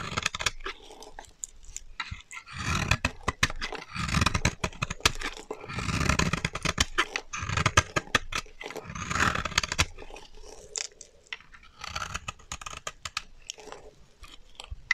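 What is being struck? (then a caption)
Bar of soap carved with a small blade. A solid pink rectangular bar of dry soap, held in the fingers, is scraped and carved with a small blade, giving dense, dry, crackling scrapes with short sharp clicks and bright rasping bursts. Crumbly pink shavings fall onto the table.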